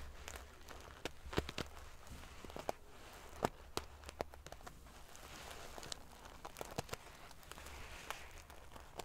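Long painted fingernails scratch and ruffle the rows of small silver metal sequins sewn onto the fabric of a large decorative pillow. A steady, bright, prickly rustle runs throughout, broken by irregular sharp clicks and ticks as the metal pieces snap against each other. A faint low hum sits underneath.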